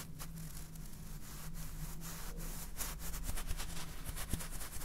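A clear plastic jar full of salt with a red plastic cap is rubbed and scratched with fingernails while being turned in the hands. The result is a quiet, continuous rough scraping with brushy high-frequency streaks over a low steady hum.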